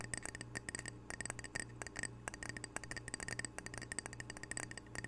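A small square glazed ceramic "Camano Island" coaster, solid and held close to the microphone, is tapped with fingernails in a quick, uneven flurry. Each tap is a short, crisp click with a bright glassy ping that dies away almost instantly, over a steady low hum.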